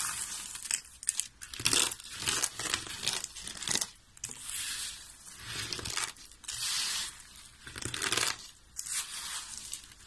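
Fingertips of both hands rub, press and crunch through a large pile of thin, brittle, pink dry soap shavings resting on a white surface. The sound is a dry, bright crackling and crinkling that swells and fades in repeated bursts, with almost no low end.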